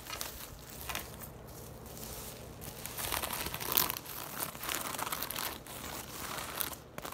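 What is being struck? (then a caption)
Woven straw tote bag. Long nails scratch and tap across the weave of a hollow, braided straw tote bag with leather handles, which is laid on its side and then stood upright. The result is a steady, dry, crinkly rasp with bright, crackling highs and quick, light taps that stop dead.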